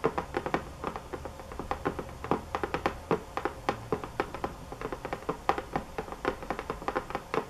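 Fingernails tap hard and fast on a box, producing a rapid, uneven run of short, dry clicks with almost no ring. The sharp taps sit mostly in the midrange around 800 Hz, over a faint low background hum.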